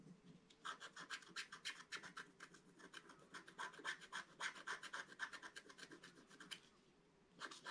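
A wooden stylus scratches and rubs the leaf areas of a flat, black-coated scratch-art card, producing a rapid, fairly regular run of short, dry scraping strokes with a bright, hissy edge. The strokes pause briefly near the end before a final few scratches resume.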